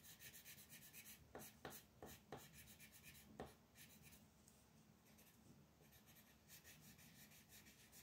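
A magenta wooden colored pencil shades the outer edge of a flat white paper mandala coloring sheet resting on a table, using rubbing strokes. Soft, scratchy graphite-on-paper rasping comes in steady repeated strokes with a bright hiss, punctuated early on by a few sharper, louder scrapes. The sound stays quiet and close throughout.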